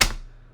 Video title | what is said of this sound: Ross Hamilton Fake Money ??? ( Connected Investors Scam ) | it sounds like plastic and it doesn't matter how hard I slammed down this real stack of 100 other bills it does not sound like this